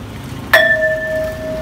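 A hammer strikes a solid iron pole taken from a pile of poles in front of a house, to show it is real iron and not a staged prop. A single sharp metallic clang rings out with a steady high-pitched tone that sustains well after the hit.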